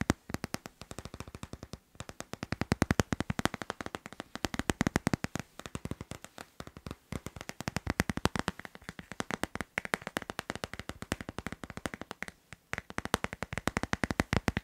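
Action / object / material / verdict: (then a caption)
tap / hard plastic phone case on a smartphone / hard plastic / none. Fingertips and nails tap fast on the back and sides of a hand-sized hard plastic phone case with a teal tropical-leaf print, fitted solidly on a smartphone. The result is a rapid, uneven stream of short, dry clicks with a low hollow body and almost no ring, in bursts that rise and fall in loudness.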